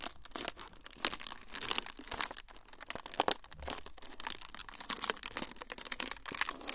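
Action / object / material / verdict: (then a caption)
scrape / thin frosted plastic sheet / plastic / none. A thin, flexible, semi-translucent frosted plastic sheet is crumpled and crinkled by both hands. It makes a dense, continuous run of sharp, bright crackles and crunches with no ring-out, steady in level for the whole clip.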